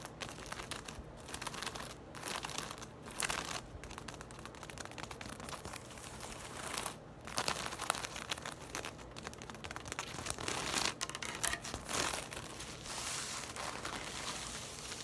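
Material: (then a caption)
Straw. Long nails tap and scratch along the thick braided straw of a round, hollow woven bag lying on a table. Dense, dry crinkling and scratching rustle through the clip, with quick crisp taps standing out now and then, and no speech.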